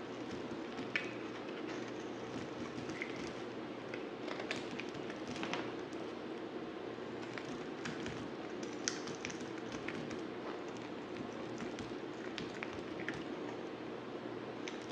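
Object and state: Grey bar soap scraped with a knife.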